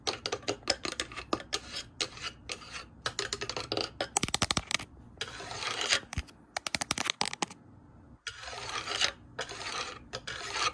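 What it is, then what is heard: Wooden shoe rack slats. Fingertips and nails tap fast on the solid wood boards of a light pine-colored wooden shoe rack with vertical slats. The result is a dense run of sharp, bright clicks and taps with very short decay, broken up by stretches of scratchy, hissy rubbing, and little low-end weight.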